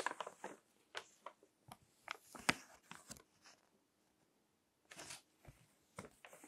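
Fingertips turn and rub the pages of a crinkled paper magazine with text pages resting on a table. Short, bright crinkling and rustling bursts come in irregular clusters, with a quiet pause in the middle before the crinkling resumes.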